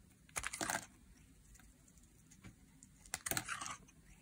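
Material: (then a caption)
Glycerin soap. A utility knife blade peels curled slices off a solid bar of translucent pink glycerin soap held in hand. Two short bursts of crisp, crackly scraping with bright, high detail, one early and one near the end, are separated by a quiet stretch with faint ticks. Each cut ends quickly with almost no ring.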